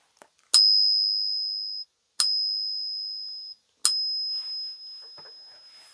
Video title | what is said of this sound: Silver stackers much watch this! 3 ways to test your silver. + GAW | into my ears it sounds pretty fantastic so it weighs good sounds good